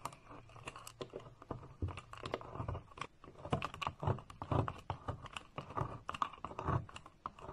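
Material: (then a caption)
Soap. A metal knife blade repeatedly cuts and scrapes thin, crisp flakes off the scored top of a solid, palm-sized green bar of soap with an embossed logo, held by a hand with painted nails over a white surface. The result is a rapid, close stream of dry crunching and scraping clicks, with a soft low body around each cut and a brittle texture centred near 1.1 kHz.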